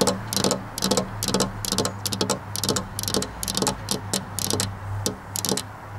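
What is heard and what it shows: Long black-polished nails tap repeatedly on a flat glass window pane fitted with a metal rail, making quick, bright, clicky ticks in an uneven rhythm. Each tap dies away almost at once, over a steady low hum.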